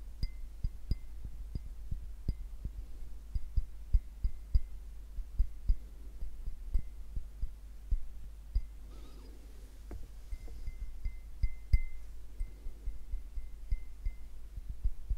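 A clear, hollow glass drinking glass with a little yellowish liquid or object at the bottom is held in one hand and tapped with the fingertips. About 23 short, soft taps come in an uneven rhythm, each a dull low thump with a faint high ring, over a steady low hum.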